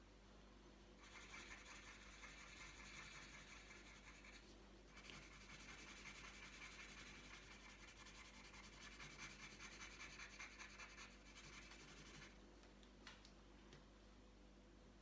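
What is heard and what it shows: The tip of a green wooden coloured pencil rubs back and forth across a thin, flat sheet of printed paper lying on a tabletop, colouring it in. The bright, scratchy strokes run steadily from about 1 to 12 seconds, with a short pause near the 5-second mark, over a faint low hum. The clip ends with a few light scratches before falling quiet.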